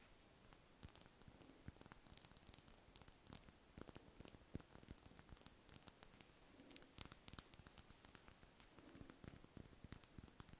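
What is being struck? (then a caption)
Large solid wax ball candle. Long red nails scratch across a large, solid, cream-coloured spherical wax candle held in the hands. The result is a quiet, dense run of rapid, bright scratching ticks and soft taps with almost no ring. A faint low hum sits underneath.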